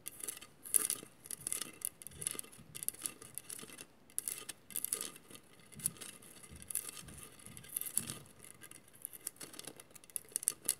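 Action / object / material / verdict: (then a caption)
scrape / glass mosaic vase / glass / none. A hollow glass mosaic vase is scratched with the long matte nails of both hands. The result is quiet, bright, dry scratching in quick bursts separated by brief pauses, with almost no ring after each stroke.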